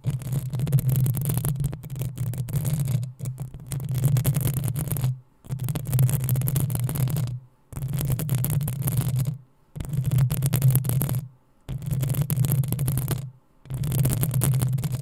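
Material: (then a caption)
Metal. Long nails scratch the hollow metal mesh grille of a black desktop microphone in about seven bursts of rough, continuous scraping, separated by brief silences. Each burst carries a heavy low rumble with a faint bright hiss above it.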